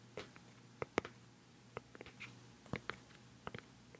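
Long nails tap the black lid of a round, hollow, white plastic cosmetic pad jar held close to the microphone. About 13 quick, dry clicks land at an uneven pace, each with a bright tick and a short hollow knock. They die away almost instantly over a faint low hum.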